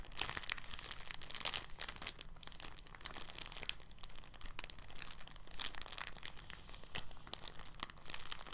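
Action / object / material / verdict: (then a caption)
scrape / thin polyethylene plastic bag / polyethylene / none. An empty, thin, clear polyethylene bag is crinkled and squeezed with fingers, giving a steady run of soft, bright crackles and crinkles. Sharper crisp pops rise above it now and then, over a faint, constant low hum.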